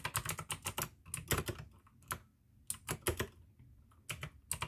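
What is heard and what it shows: Fingertips type fast on the keycaps of a full-size pink plastic AUKEY mechanical gaming keyboard with RGB backlight, clicky blue switches and a hollow case. Quick bursts of sharp, bright clicks sit over a low, hollow clack. The typing breaks into short runs with brief quiet gaps between them.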